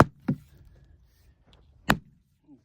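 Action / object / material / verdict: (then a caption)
strike / eucalyptus log struck with a splitting maul / wood / hollow. A splitting maul strikes a section of red gum eucalyptus log, giving short, dull, hollow-sounding thuds with low-pitched body and almost no ring. The hollow sound comes from the many cracks inside the wood, and the piece comes loose as the splitting continues.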